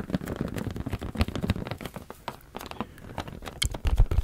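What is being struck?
Latex balloon.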